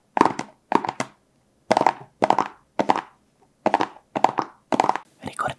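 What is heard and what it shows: A small, hollow, blue printed cardboard product box, first held in the hands and then resting on a black surface, is tapped and scratched with fingertips and short nails. Nine short bursts of quick, dry, hollow taps are heard with a papery mid-range tone around 930 Hz, ending in a rougher scratching burst. Each tap dies away almost instantly between the bursts.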